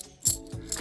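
Delaware tercentenary half dollars sold as 90% silver are set down and clinked together, giving two short, bright metallic clicks with very little ring. The dull clink does not sound like silver, and the coins are fake.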